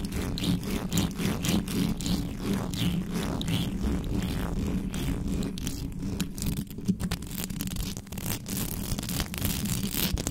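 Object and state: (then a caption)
Metal microphone grille, scratched. Fingertips and long nails scratch rapidly across a hollow metal mesh microphone grille with no cover. The result is a dense, continuous, uneven stream of rough scraping strokes over a strong low rumble and a steady hum near 200 Hz, with brighter scratchy bursts above.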